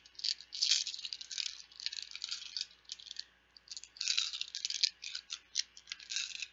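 Plastic Bananagrams word game letter tiles are rattled and shaken loudly. Bursts of bright, dry clattering come and go, sitting almost entirely in the high range with almost no low end, with a short lull near the middle before the rattling picks back up.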